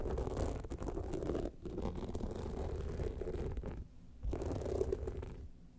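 Long nails scratch both studded sides of an upright gold rhinestone-studded evening clutch bag, making a dense, gritty rasp. The sound is mostly low and mid, with a short dip near the 1.5-second mark and a brief pause around 4 seconds. The scratching then resumes and fades out at the end.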